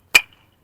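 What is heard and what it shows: A top-grade "double S 7" first-class fired clay brick is struck once, giving a sharp, bright crack with a short high ring near 2.4 kHz that fades within a fraction of a second. The clear ring marks it as a good-quality brick.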